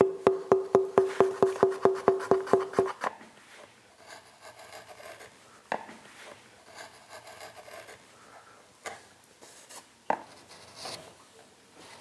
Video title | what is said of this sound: MEDITERRANEO - La Vallée de la Soca en Slovénie, les grands luthiers italiens | on peut évaluer les épaisseurs la souplesse du bois et puis surtout on va écouter